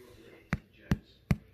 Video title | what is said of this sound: How to Make Seed & Nut Bread: Quarantine Cooking | it sounds hollow like a drum yeah it has to sound hollow like a drum